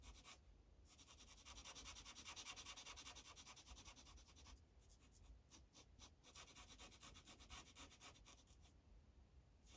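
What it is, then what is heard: Felt-tip marker colouring on paper over a clipboard. An orange felt-tip Sharpie marker is rubbed back and forth over a thin printed paper coloring page resting on a hard clipboard while coloring it in. The quiet, rapid strokes make a bright, scratchy hiss that pulses at a steady, uneven rhythm, with brief pauses between bursts of shading.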